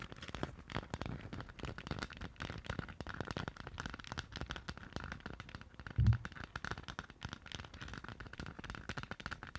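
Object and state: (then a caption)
Plastic moon lamp. Long nails from both hands tap and scratch all over a hollow, lit Stitch moon lamp, likely 3D-printed plastic. The result is a dense, steady stream of quick, soft clicks and scraping rustles with a hollow, low-heavy tone. One louder thump lands around the six-second mark.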